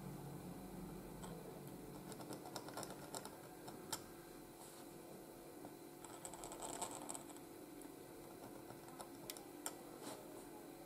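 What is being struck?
Paper sheet scratched by a steel pen nib.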